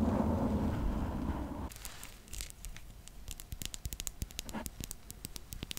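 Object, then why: Foam microphone windscreen. Long nails scratch and grip a pink foam windscreen on a condenser microphone. A dense, low, muffled rustling fills the first part, then it drops to a quieter bed of quick, bright crackles and soft pops.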